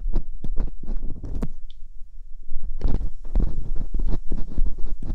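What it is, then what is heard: Silicone ear mold scraped with a metal pick. Metal hooked dental picks scrape inside the canals of silicone ear molds on a binaural microphone. Close, bursty scratching and patter crowd the clip, dense low rumble underneath, with brief bright clicks, a short quieter lull near the middle, then busier scraping again.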